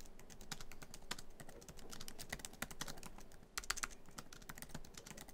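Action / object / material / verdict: tap / laptop keyboard with plastic keys in a metal body / plastic / none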